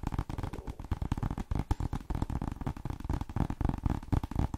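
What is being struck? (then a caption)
Paperback book, paper. A cream paperback book marked "M," a solid block of paper, is held in one hand while the nails of the other hand tap quickly on its cover and edges. The result is a rapid, uneven stream of short, dull thuds, mostly low in pitch, with no ring and almost no bright content.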